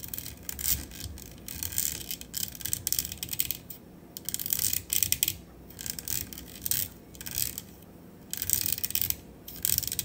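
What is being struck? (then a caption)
Metal USB microphone body and grille. Long acrylic nails tap quickly on the body and grille of a black matte metal USB studio microphone on a stand. Bursts of rapid, bright clicking and ticking come in waves with short, quieter pauses between them, each tap dying away almost instantly.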